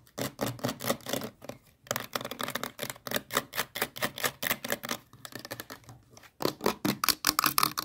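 Long nails rapidly tap and scratch the body and yellow trigger cap of a hollow, hand-sized blue plastic sunscreen spray bottle. The result is a fast stream of short, dry, bright plastic clicks and scrapes with almost no ring, pausing briefly twice before picking back up louder.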